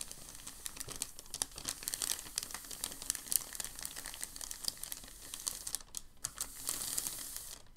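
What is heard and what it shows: Both hands smooth and press a large crinkled sheet of packing paper on a table, producing a steady stream of bright, dry crinkling with many sharp crackles. The sound stays busy and high-pitched throughout, with a brief quieter moment near the six-second mark before the crinkling swells again.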